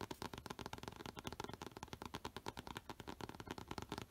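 A thin, flat Spider-Man comic in a clear plastic bag with a board backing, first held in one hand and then laid on a dark cloth surface, is tapped and scratched across its plastic-covered cover by fingertips and short nails. The result is a rapid, steady run of short, crisp crinkly taps and scratchy clicks that stop quickly, each with almost no ring.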